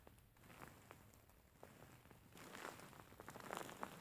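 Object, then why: Soft filled faux fur pillow. A large, soft-filled grey faux fur pillow is squeezed and scratched with fingertips and nails. Quiet, soft rustling runs throughout, broken by irregular short scratchy crackles and brief bright scrapes that grow busier toward the end.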